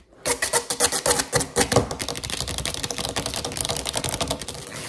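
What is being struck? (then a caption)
Rubber mesh mat. A thin, flat grey-green textured rubber or foam mesh liner mat lying on a wooden table is tapped quickly with long acrylic nails and fingertips, like typing. Sharp, bright clicks with a soft thud underneath start as spaced taps and then speed into a dense, steady patter that sounds much like a typewriter. Each tap dies away almost at once.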